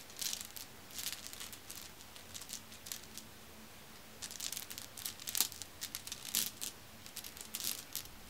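Fingertips with long nails press and rub across a pile of solid, dark, glossy glass marbles resting on a fuzzy cloth, so the marbles click together. The result is a quiet, scattered stream of bright, crisp clicks with a crinkly rustle between them. Each click dies away almost instantly, with little low end.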